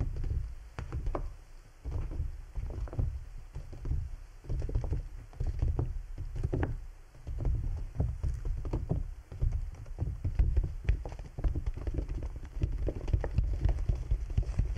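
Fingertips and nails tap and pat the thin, hollow canopy of a large, clear PVC bubble umbrella, a transparent plastic dome wet with droplets that covers a binaural microphone. The result is a steady stream of soft, deep, drum-like thumps and pats with short, dull decays and faint lighter ticks, rising and falling in clusters throughout.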